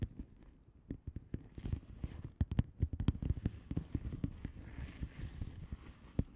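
Long manicured nails of both hands tap and scratch across a flat blue plastic bubble wrap mailer envelope with air-filled bubbles. A rapid, uneven stream of short, dull, low-pitched taps dies away almost instantly, with soft scratchy rustling filling the gaps.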